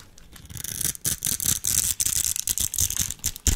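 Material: Soap.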